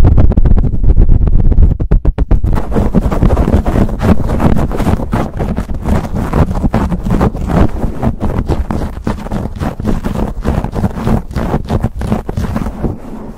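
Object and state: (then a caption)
Foam microphone windscreen being scratched. Fingertips and short nails of both hands quickly scratch and rub a black foam windscreen over a hollow, hand-sized silver USB condenser microphone. The result is a dense, boomy scratching rumble that is heavy in the low end, with rapid, uneven strokes. The opening two seconds are a louder continuous rub before the scraping breaks into faster, choppier bursts.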